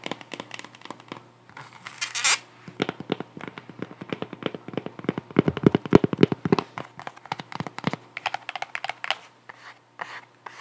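Long nails tap and scratch the cork sole and straps of a white sandal with a cork wedge heel, held up close. Quick, dry, clicky taps and scrapes come in an uneven, rapid stream, with a brief bright, hissy scratch early on and a denser, fuller cluster of taps in the middle.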